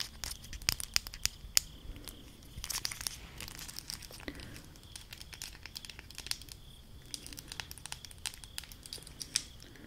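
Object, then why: Small plastic highlighter caps. A stack of small, hollow, textured plastic highlighter caps in blue, yellow and green is held up and tapped and scratched with long acrylic nails. The result is quick, dry clicks and crinkly scratching, bright and crisp with almost no ring, over a quiet low background hiss.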